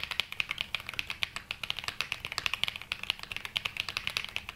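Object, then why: Mechanical keyboard with plastic keycaps. A black Glacier 80 mechanical keyboard with London Fog switches and dark grey and mint ABS keycaps (GMK Metropolis), solid-bodied and resting on a felt desk mat, is typed with the fingertips of both hands. A steady stream of about 38 short, bright clacks is heard, centered around 3 kHz, with almost no low end and each press dying away almost instantly.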